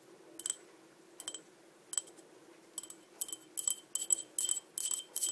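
Long dark nails tap and scratch the outside of a small, empty, green patterned crackle-glass cup held in the hand. Bright, high, glassy clicks and scrapes come in short bursts with almost no ring, sparse at first, then denser and louder toward the end.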